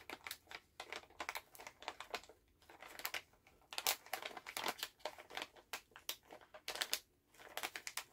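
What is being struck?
Plastic candy pouch.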